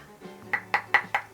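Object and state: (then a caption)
Marble cutting board. Five sharp taps on a new marble cutting board, each a short, hard knock with a bright ringing tone that fades almost instantly. A faint low hum sits underneath.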